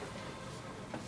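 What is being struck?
Nothing is struck.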